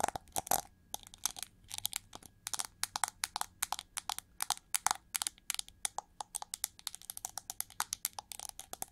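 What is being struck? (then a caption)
Chrome-plated plastic hair brush. Long nails scratch the ridged feathers on the hollow back of a winged, gold chrome-plated plastic hair brush as it is tilted and turned. The result is a steady run of quick, dry, crackly scratches with a bright, hollow plastic edge. Each stroke stops short with almost no ring, and a slightly denser burst comes near the end.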